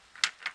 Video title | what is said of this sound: ABS light and brake light fix | hear the float it's a very fluid and pliable